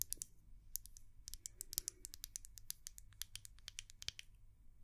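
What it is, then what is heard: Glass candle jar tapped with nails. A small white glass candle jar, held in both hands, is tapped and scratched with long nails. A quick, irregular series of sharp, bright clicks with very short ring is heard, with faint scratching in between and a low hum underneath.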